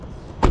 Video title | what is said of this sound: "1400만원 감가!" 패밀리카로 안성맞춤 팰리세이드 - 중고차 구매대행 | 둔탁한 소리가 나야 되는데 어떤 통통 소리가 나지 않은지를 좀 살펴보는 거고요